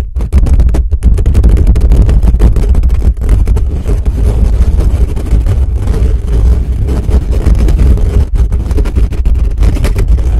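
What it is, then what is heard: Metal microphone grille. Fingertips scratch fast and hard across the bare metal mesh grille of a black condenser microphone, from above and from the sides. The result is a loud, continuous, booming low rumble of dense scraping and thumping with almost no bright content.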